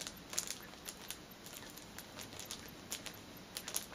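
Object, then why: Cellophane-wrapped package. Long nails scratch and tap with a single finger on the plastic film of a flat, cellophane-wrapped orange fitness band package. Quiet, bright, crisp clicks and crinkles are scattered over a soft, steady hiss, each tap dying away almost at once.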